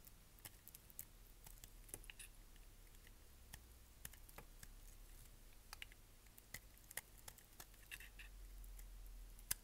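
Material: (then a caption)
Soap. A solid, dry green-and-white striped soap bar held in the hand is shaved with a utility knife blade into green curls. Quiet, irregular, crisp clicks and bright scraping ticks sound as the blade cuts, over a steady low hum.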